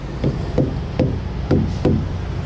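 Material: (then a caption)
Rubber. A tire thumper strikes a rubber truck tire several times in a row, each hit a dull, low thud that dies away quickly. The hard, solid sound means the tire is properly inflated.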